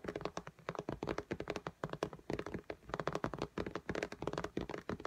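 Long fingernails of both hands tap quickly on the glass screen of an iPad in a pink case lying flat. About thirty short, dry clicking taps come in fast, uneven bursts, each with a mid-pitched knock and almost no ring.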